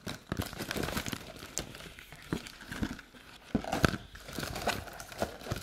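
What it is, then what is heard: Empty paperboard treat bucket. A hollow, empty paperboard Halloween treat bucket is turned in the hands while long nails tap and scratch its outer surface. Quick, dry taps mix with papery scratching and crinkling, each tap dying away at once with no ring.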